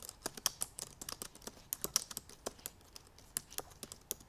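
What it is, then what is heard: Laptop keyboard with plastic keys. Long purple nails tap fast over the black plastic keys of a silver aluminum MacBook Pro laptop keyboard. About twenty-two quick, uneven clicks sound, bright and sharp with almost no low end, and each one dies away instantly.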